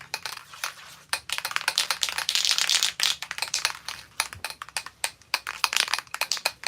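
A metal aerosol spray paint can is shaken before painting a vintage outboard motor, and the mixing bead inside rattles with fast, bright, dry clicks: dense bursts at first, then separate sharp knocks. The bead knocks around freely, showing it is loose and mixing the paint.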